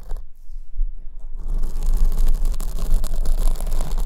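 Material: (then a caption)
Foam. Fingernails repeatedly scratch the surface of a large black foam windscreen on the right microphone, held at the top. A deep, boomy rumble runs underneath dense, bright rustling scrapes that start soft and sparse for about the first second and a half, then grow louder and continuous.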